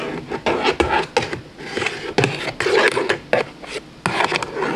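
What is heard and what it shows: A thin black pen-like stick scratches and taps along the surfaces and edges of a large, lit, hollow puzzle lampshade made of thin interlocking plastic panels. Dry, rough scraping runs between about 11 sharp, bright clicks, each with a hollow midrange knock near 500 Hz that dies away almost at once.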